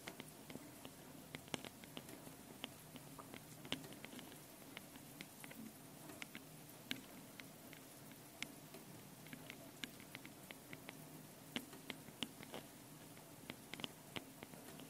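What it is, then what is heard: Metal mesh microphone capsules tapped with fingernails. Long painted nails tap and scratch both metal mesh microphone capsules on top of a small handheld Tascam recorder. Quiet, dense pattering and scratching is heard, with sharp, bright clicks standing out now and then. The clicks die away almost instantly over a steady low hum.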